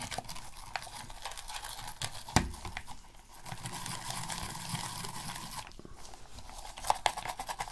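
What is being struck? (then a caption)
Plastic game controller. A black, hollow plastic PS3 game controller, held in a gloved hand, is scrubbed near its buttons with a plastic toothbrush. A steady, dry, bristly scratching runs throughout, dipping briefly in the middle and again before the end, with a few sharper plastic clicks and taps standing out.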